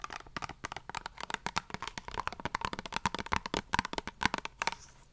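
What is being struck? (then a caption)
Soft plastic face wash tube. Very long nails tap and scratch the surface of a soft, printed plastic Himalaya face wash squeeze tube that appears partly full. A rapid, uneven series of sharp, dry clicks and crinkly scrapes follows, with a faint tone around 1 kHz and no ring after each tap.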